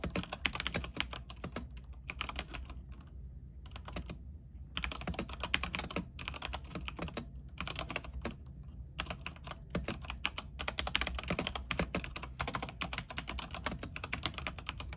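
A mechanical keyboard with white plastic keycaps on a silver backlit frame is typed on continuously by fingertips. The result is a steady stream of sharp, bright key clicks over a low hum, broken by a few brief pauses.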